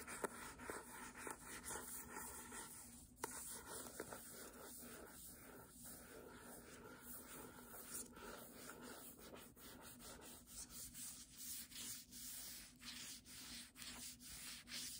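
Fingertips rub across the paper dust jacket on the cover and spine of the hardcover book "Doggerel." The result is a quiet, continuous dry rubbing and scratching with a bright, papery hiss, broken by a few faint sharp ticks.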